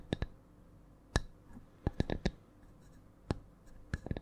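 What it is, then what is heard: Wooden coaster tapped with nails. A small, flat, round wooden coaster is held above a microphone and tapped with long nails. About eleven short, dry clicks fall in an uneven rhythm, some spaced apart and others in quick clusters, each stopping almost at once over a low, quiet background. The coaster sounds solid.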